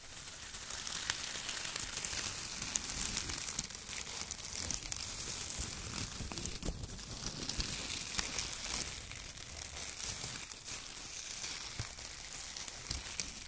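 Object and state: Shredded kraft paper.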